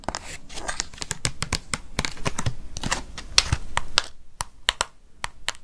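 A hollow orange plastic Halloween pumpkin container with a green plastic lid and a paper label, apparently holding candy, is tapped with long fake nails. A rapid, uneven run of sharp, dry clicks rings bright and dies almost instantly, with soft crinkly rustling between taps and a low hollow thump beneath. The tapping thins out toward the end into a few spaced, crisp clicks.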